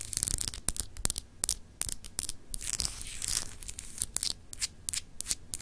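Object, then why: Solid glass globe paperweight. Long acrylic nails scratch the textured surface of a palm-sized solid clear glass globe paperweight with frosted continents. Quick, bright, dry scratching strokes are punctuated by sharp nail clicks, with a brief smoother rasping rub in the middle and a faint low rumble underneath.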